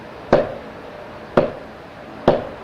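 Three knocks on the side of a table, each a short, dry tap with a clear midrange tone around 590 Hz that dies away quickly. The side of the table gives a different sound from its top.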